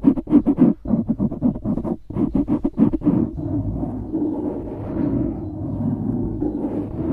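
Fingertips and nails scratch the sides of a dark grey foam windscreen on a studio microphone. About three seconds of quick, separate rough scratching bursts give way to a steadier, continuous muffled rubbing with most of its energy in the low mids.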